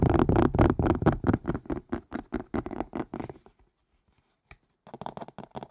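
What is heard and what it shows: Fingertips and nails rapidly tap and scratch a hollow, empty collapsible colander of green silicone and white plastic, held upside down over the microphone. The result is a fast, fairly steady run of dull, low, hollow taps with a soft scratchy texture. The taps fade out, pause for about a second with a single tap in the gap, then resume.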